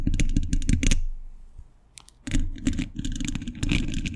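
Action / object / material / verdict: tap / steel mesh microphone grille / steel / none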